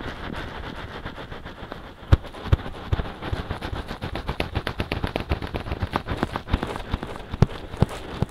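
Fingertips scratch quickly on both soft silicone ears of a binaural microphone. A steady rustling bed gives way to rapid, slightly uneven bursts of crackly scratches, with dull, bassy thumps and several sharper, louder pops standing out in the second half.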